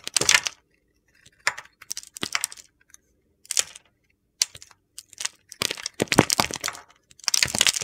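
A metal utility knife blade carves a solid, rectangular white bar of soap with a red glitter coating, held in the hand. Short, bright, crunchy scraping bursts come in irregular bunches separated by brief silences. Crunchy flakes break off as it is cut.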